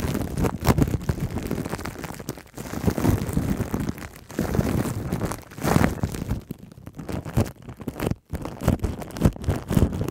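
Long nails scratch and rub clear plastic cling wrap stretched over a black microphone head, producing dense, muffled crinkling and scraping with a heavy low-end rumble. The rubbing comes in uneven bursts that swell and fade, with a brief near-silent gap before resuming.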